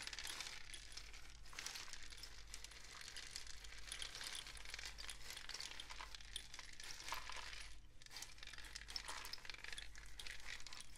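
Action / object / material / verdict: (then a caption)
shake / cardboard rainstick tube with loose filling / cardboard / none. A long, hollow, painted cardboard rainstick with a mesh-wrapped end is held in hand and tilted and shaken. It gives a continuous, dense, bright pattering and rustling that swells and eases over the clip, with a steady low hum underneath.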